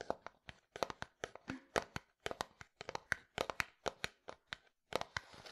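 A medium, hollow, white translucent frosted plastic bottle is held sideways and tapped with the fingertips. About 28 sharp, dry taps ring out in an irregular rhythm, each dying away almost instantly with a light hollow click, with a brief pause before a denser flurry at the end.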